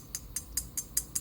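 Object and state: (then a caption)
Metal-crowned fairway wood head, pingy metallic sound. An older metal-crowned 3 wood golf club head (Atos/CB5) is tapped six times in a steady rhythm. Each tap gives a short, bright, pingy metallic click with little low end and almost no ring. It sounds louder and more like metal than the thuddy, muted sound of the carbon-crowned M5.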